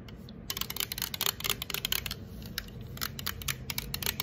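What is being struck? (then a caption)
Aluminum drink can. Long acrylic nails tap and scratch the side and top of an unopened, apparently full 355 mL green Sprite aluminum can. The result is a quick, irregular series of sharp, bright clicks with very short ring, over a faint low background.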